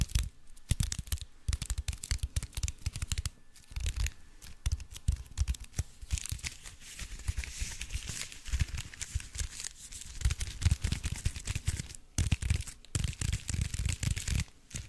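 Fingertips cup, squeeze and scratch the crinkly aluminium foil wrapped around a block, producing dense, rapid crackling and crinkling with low thumpy handling noise and bright rustling hiss. The crinkles come in bursts with brief pauses, growing brighter and busier in the middle of the clip.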